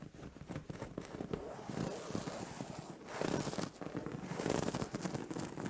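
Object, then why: Padded fabric bed cover. Long orange-painted nails scratch and rub across a soft, padded white cotton-like duvet or pillow on a bed. A dense, crackly scratching and rustling runs throughout, swelling into brighter, louder bursts of rubbing in the second half.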